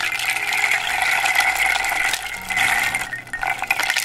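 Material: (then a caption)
Wood. A flat, round, hollow wooden rain drum about 25 cm across, its light face decorated with painted dots and dark radial lines, is held in one hand and tilted or shaken so the loose contents rattle inside, while long dark-polished nails tap and scratch its face. The result is a dense, bright, continuous rattle centered around 2.2 kHz, with quick, dry ticks that barely ring. The rattle briefly thins out just past three seconds, then surges back.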